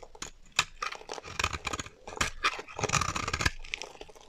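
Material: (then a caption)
Soap. A metal utility knife blade shaves a solid, dry, mint green bar of soap held in the hand, peeling off curly shavings. Repeated crisp, bright scraping and crunching strokes follow one another closely, some louder and sharper than others, with a dry tearing texture.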